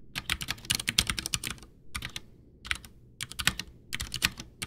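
Both hands type with their fingertips on a full-size, backlit, white plastic Ducky One 2 mechanical keyboard with Cherry MX Brown switches and a hollow case, resting on a desk. Fast runs of bright, sharp key clacks with a faint low thump stop quickly, broken by several short pauses between bursts of typing.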